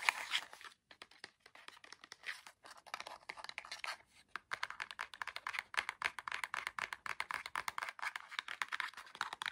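Fingernails quickly scratch and tap the sides and edges of a small orange cardboard LED fairy-light box with a plastic window as it is turned in the hands. The result is a dense run of dry, crisp clicks and scrapes, bright and papery, with no low end and almost no ring after each touch. A short pause breaks the rhythm before the tapping picks up again, steady and quiet.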